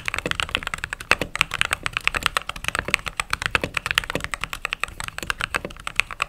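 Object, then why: Mechanical keyboard with plastic keycaps. Fingertips and long nails type steadily on a mechanical keyboard with white/cream plastic keycaps. Dozens of short, crisp clacks come in a quick, uneven rhythm. The sound is bright and dry, with little low end, and each keystroke dies away almost at once.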